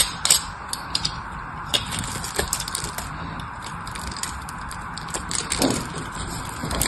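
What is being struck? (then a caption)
Bar of soap scraped with a metal blade. A metal blade shaves and scrapes the surface of a solid blue bar of soap held in the hand. The result is a steady, bright, dry scraping hiss broken by sharp, crisp ticks and crackles as the blade catches and flakes come away.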